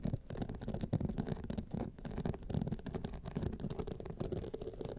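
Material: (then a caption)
Rhinestones. Long fingernails on both hands scratch down the studded face of a gold rhinestone clutch wallet standing upright. The result is a continuous, dense rasping with rapid, closely packed strokes that rise and fall in loudness. The scratching sounds heavy and low, with a fine, bright clicking texture on top.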